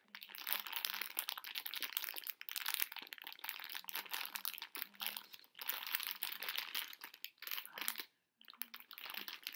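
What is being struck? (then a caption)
Plastic bag of small hard candies. A Brach's plastic bag full of small hard conversation heart candies is held in both hands, crinkled and shifted so the candies rattle inside while fingertips scratch the bag. The sound is a dense, bright, crackling crinkle with quick dry ticks, broken by short pauses and one brief silence near the end.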